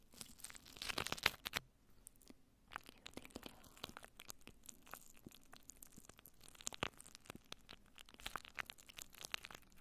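Clear plastic cling wrap is wrapped around the head of a microphone, and long nails scratch and brush across the crinkled film. The result is a steady stream of close, bright crinkling and crackling with many short, sharp snaps. The noise is densest in the first two seconds and continues unevenly to the end.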